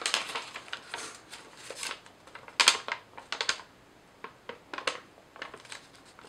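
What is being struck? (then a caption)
Thin lined paper sheets. Thin, slightly crumpled sheets of yellow lined legal pad paper are crinkled and folded with fingertips and long nails. Bright, papery crackles come in uneven bursts with brief quiet gaps, the sharpest snap landing midway through, and there is no low rumble underneath.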